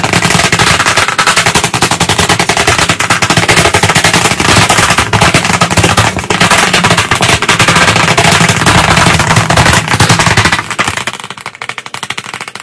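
White chalk sticks held in both hands tap very fast on a solid, medium, flat black chalkboard panel in a wooden frame. The result is a dense, rapid-fire stream of sharp, dry clicks with a bright, crackling top, staying steady and loud for about ten seconds before thinning out and growing quieter near the end.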